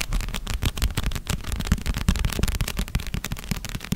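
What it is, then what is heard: Paperback book. A red paperback novel of solid paper with a glossy cover is tapped and scratched on its cover and edges with long red-painted nails. The result is a rapid, continuous run of short, dull, low taps mixed with soft scratching, each tap dying away almost at once.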